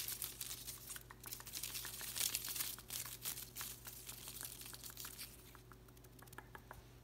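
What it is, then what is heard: Artificial plastic willow plant. An open hand sweeps through and rubs the thin plastic leaves of an artificial willow plant with bamboo-like stems, making them crinkle. The result is a quiet, bright, rustling crackle of many quick, uneven leaf snaps over a faint steady low hum, peaking in the middle and easing off toward the end.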